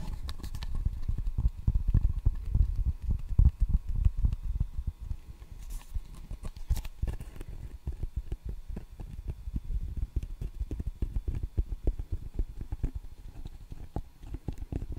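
Fingertips tap the red rubber face of a solid wooden table tennis paddle held beside the microphone. The result is a rapid, irregular run of dull, low, muffled thuds with almost no ring, louder over the first few seconds and then softer and steadier.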